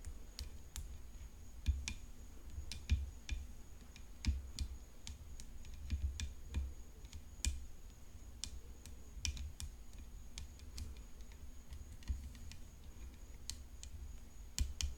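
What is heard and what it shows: Long nails tap irregularly on the hollow composite frame of a rhinestone-decorated tennis racket resting on black cloth. Each tap is a short, dry click with a bright edge, heard over a steady low hum and a faint continuous high tone.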